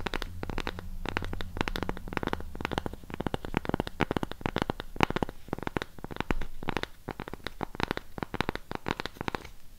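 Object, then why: Thick round cork disc. Long pink nails tap and scratch the face and edge of a thick, palm-sized round cork coaster block held beside a mini microphone. Rapid, dry, close-up clicks and scrapes run throughout with a soft low hum underneath in the first few seconds. There is one louder scratchy stretch near the middle before the tapping thins out at the end.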